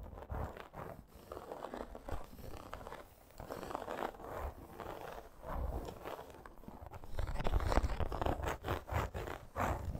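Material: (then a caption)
Faux leather. Long acrylic nails quickly scratch a flat dark-red faux leather wrist guard with an embossed crocodile texture, metal studs and eyelets. The result is a dense, irregular run of dull, dry scraping strokes with little brightness, growing louder in the last few seconds.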